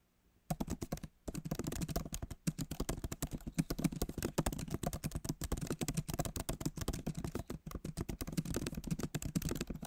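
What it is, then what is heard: Laptop keyboard being typed on. Fingertips of both hands type steadily on a backlit MacBook Pro keyboard with plastic keys set in a solid aluminum body. The rapid, dry key taps are soft and low-weighted, with no ring, and break off in brief pauses near the start before running on continuously.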